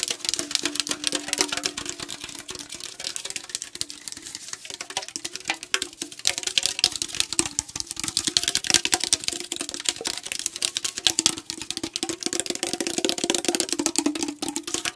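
Fingernails tap rapidly and continuously on the printed side of a tall aluminum tea can held sideways. They make a dense stream of short, dry, bright clicks with a light metallic tone, while a faint steady ring sits low beneath them. Each tap dies away almost instantly, and the loudness rises and falls in uneven bursts throughout.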